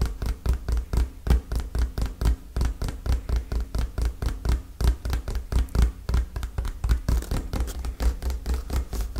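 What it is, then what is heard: Cardboard box. A hollow, dark printed cardboard product box is held in both hands and tapped and scratched with fingertips and nails. It gives a steady run of quick, dull, low thuds in an uneven rhythm for about nine seconds. The taps die away almost at once, with light scratching in between.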